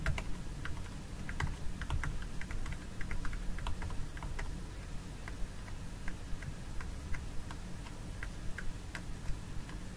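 Long nails tap the lid of a small plastic jar filled with fragrance gel, making about 26 quick, dry clicks in an irregular rhythm. Each tap is short and bright, heard over a steady low hum.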